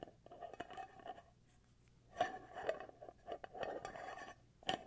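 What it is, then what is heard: Glass candle jar lid tapped and scratched. Fingertips and nails tap, scratch and twist the black lid of a small glass candle jar filled with wax. Quiet, short clicky taps with a mid-pitched glassy ring mix with soft scratchy rasps, rising to a few sharper, brighter taps before fading quickly.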